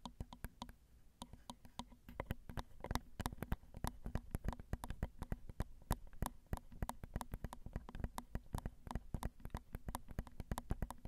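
Long acrylic nails tap the small hollow metal mesh grilles of a Zoom recorder's XY microphone capsules. Rapid, irregular taps come through as dry, very short clicks with heavy low-end thumps and almost no ring. A steady low hum sits underneath throughout.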